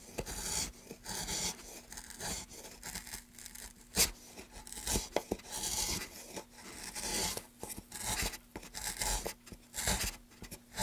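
A gloved hand carves and scrapes a groove in a solid, light wooden plank held steady, using a wooden-handled gouge. Bright, dry rasping scrapes come in irregular strokes, with occasional sharp clicks as the blade catches. A faint steady low hum sits underneath.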